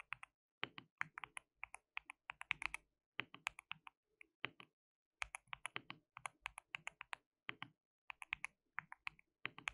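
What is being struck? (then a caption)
Plastic mechanical keyboard. Fingertips of both hands type on a white plastic mechanical keyboard with translucent keycaps. Quick, bright, clacky keystrokes come in rapid bursts separated by short pauses, each click dying away almost instantly.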